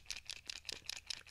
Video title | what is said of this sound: 🔴 LIVE Adult Coloring Books For Relaxing, Your Fun Color With Me | let's shake it up to hear it and remember there's like a little ball in there